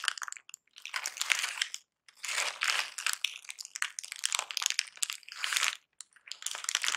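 Crumpled brown kraft packing paper lying flat is pressed and scratched with painted fingernails and fingertips. The result is bursts of dry, bright crinkling and crunching separated by short pauses, with almost no low end.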